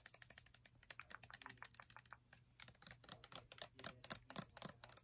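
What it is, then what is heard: Plastic body wash bottle tapped with nails. Long nails rapidly and irregularly tap a medium clear plastic bottle full of body wash while it is held. The taps are short, crisp and clicky, with a bright, hollow plastic tick and almost no ring. They pause briefly midway before resuming at a quiet level.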